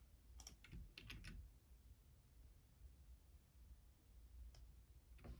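Fingertips type on the left-side keys of a black plastic Logitech computer keyboard. A quick cluster of short, bright key clicks comes early, followed by a quiet stretch and two more isolated clicks near the end, all over a low background hum.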